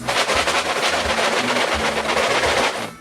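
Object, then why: Cardboard cereal box with dry flakes inside. A flimsy cardboard Kellogg's Frosted Flakes cereal box (NHL edition), 12.5 by 7.5 by 3 inches, is shaken for about three seconds. Its contents rattle in a steady, dense, bright shuffling with repeated swishes and no clear separate hits. The sound then trails off at the end.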